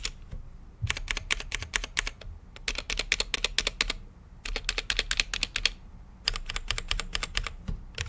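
Fingertips of both hands type on a full-size mechanical keyboard with plastic keycaps on a translucent RGB-lit case. Quick, bright clacks come in three fast runs separated by short pauses. Each keystroke is sharp and dies away almost instantly over a faint low rumble.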